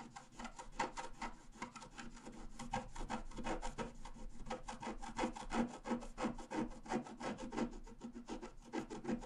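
A wooden stylus point is scratched across a flat A4 scratch-art sheet with a black coating over a rainbow layer, lying on a table while the other hand holds the sheet. The result is a quick, somewhat uneven series of dry, rasping scratch strokes, about three per second, each short and crisp with little ring.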